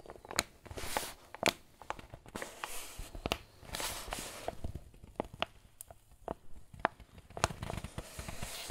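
Fingers and thumbs squeeze and crinkle a crumpled, filled, medium-size white paper flour bag. Sharp, bright paper crackles and crunches come in irregular bursts over a soft rustling bed, each snap stopping almost at once.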